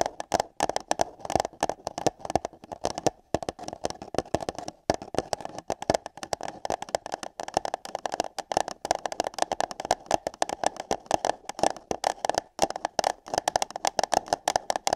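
Long yellow nails rapidly tap and scratch on empty light-blue paper cups placed over the microphone ears. The result is a hollow, papery clatter centered around 760 Hz, made of dense, irregular, very short clicks with bright scratchy edges and brief gaps, continuing for the whole clip.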